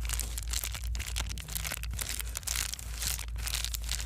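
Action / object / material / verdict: scrape / plastic bubble wrap sheet / plastic / none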